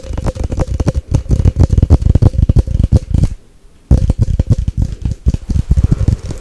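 A Nescafé glass coffee jar with a gold lid, held in both hands, is tapped fast and aggressively with long nails across the lid, the glass and the label. The result is a dense run of quick, dull, low-heavy taps with almost no ring. The tapping pauses briefly just past the midpoint, then resumes at the same pace.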